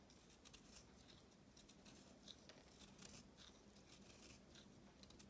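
A knife cuts and scrapes a solid, palm-sized block of pressed pink chalk with green flecks, held in the hand. Quiet, steady crunchy crumbling and bright gritty crackles run throughout, over a faint low rumble.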